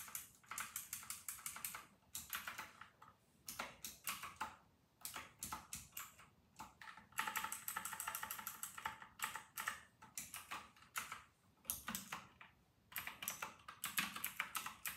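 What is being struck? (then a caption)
Plastic mechanical keyboard. Fingertips of both hands type on an RK960 full-size white mechanical keyboard with round retro plastic keycaps. They make bursts of rapid, bright, clacky keystrokes separated by short pauses, and each click dies away almost at once.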